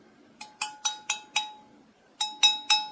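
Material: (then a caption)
Silver. A piece of real 800 (continental) fine silver flatware is tapped nine times, giving sharp, bright metallic rings with a clear tone near 800 Hz and strong overtones that fade quickly. The sharp sound marks it as genuine silver rather than a fake piece.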